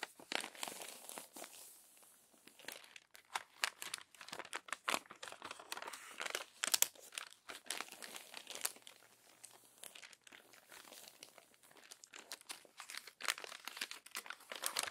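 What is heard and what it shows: The crinkled pages of an open glossy paper magazine are smoothed flat with a palm and then turned with long nails. Dense, bright crinkling and sharp paper rustles come in quick bursts with a few louder crackles, with almost no low end. Each rustle stops short with no ring.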